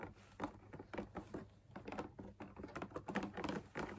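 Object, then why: Fabric-laminated lamp shade with wire frame. Fingertips and nails tap the top edge and outer wall of a hollow drum lamp shade made of fabric laminated on a stiff backing, with a perforated pattern and a wire frame. The result is a quiet, irregular patter of soft, dull taps with a low-mid body and very short decay.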